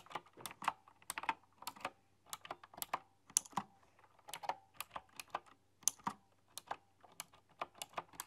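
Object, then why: Computer keyboard with round metal-rimmed plastic keycaps. Fingertips and long, dark-polished nails type on a full-size typewriter-style computer keyboard with hollow, round chrome-rimmed keycaps. The clip holds 26 quiet, crisp taps in an uneven typing rhythm. Each tap has a bright, clicky attack that dies away almost instantly.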